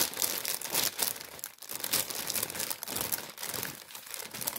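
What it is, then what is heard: Paper bag crumpled. A tan kraft paper baguette bag, held in the hands, is crumpled and rubbed with the fingers. Dense, continuous crinkling and rustling fills the clip, bright and crisp with almost no low end, with brief louder crunches and a short dip in between.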